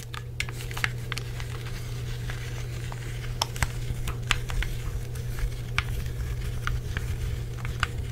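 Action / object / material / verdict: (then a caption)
tap / plastic game controller / plastic / none. Fingertips tap the shell of a hollow black plastic Xbox 360 controller and press its buttons and thumbsticks. Quick, dry clicks and light taps with bright edges come at an uneven pace, each dying almost at once. Beneath them runs a steady low hum near 100 Hz.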